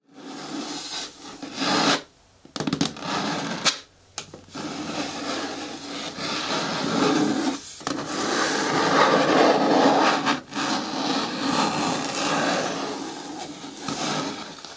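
Fingertips and long natural nails tap and scratch the sides of a large, hollow, green hard plastic bucket bin with a lid. The sound is a steady, bright, raspy scratching with hollow plastic tapping mixed in. Brief pauses break it up, and it has little low-end weight.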